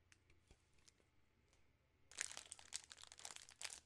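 A full 3 Musketeers bar in a shiny plastic film wrapper is crinkled and scratched with long nails. Faint, sparse crinkles for the first two seconds give way to louder, dense bursts of bright, irregular crackling that continue to the end.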